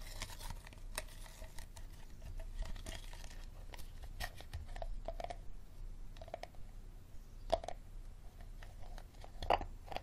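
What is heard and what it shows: Fingernails tap and scratch the ribbed, star-shaped bottom of an empty, hollow clear plastic water bottle. The result is a quiet, steady run of short, dry clicks and crinkly scrapes over a low hum. Two sharper taps stand out near the end.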